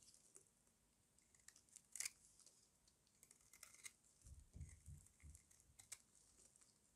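A small metal blade carves crunchy pieces from a solid rectangular bar of dry white soap held in the hand. Quiet, bright scraping and crisp crackling come in short bursts, with a sharp snap near the two-second mark and a few soft, low thuds later on.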